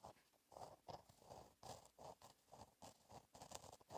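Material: Paper.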